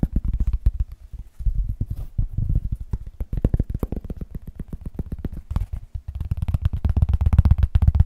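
A cork is tapped quickly and irregularly, producing a dense run of short, dry, deep thuds with almost no high end. The taps ease slightly in the middle and grow louder and busier toward the end.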